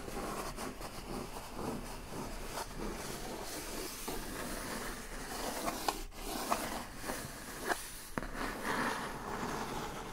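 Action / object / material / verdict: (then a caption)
scrape / corrugated cardboard box / cardboard / none. Long acrylic nails on both hands tap and scratch the lid of a large, hollow, brown printed corrugated cardboard shipping box. Steady soft scratching rasps run throughout, broken by a few sharper, brief tap clicks in the second half.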